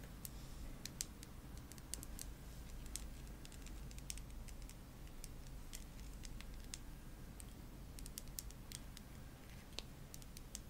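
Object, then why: Glass nail polish bottle with plastic cap. A small purple OPI glass nail polish bottle with a black plastic cap, looking full, is held in one hand while long nails tap the cap and bottle. Quick, light, bright clicks and taps patter over a low, steady hum.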